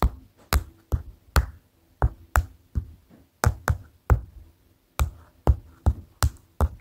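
A paper notepad is tapped with the fingers, giving 14 short, dull, low-pitched taps in an uneven rhythm. Each tap dies away almost at once, with little high-frequency content.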